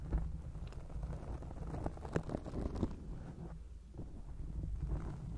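Long acrylic nails scratch over a black foam microphone windscreen, making a dense, muffled rustling with a heavy low rumble. A few sharper scrapes stand out above the steady scratching, and there is almost no bright top end.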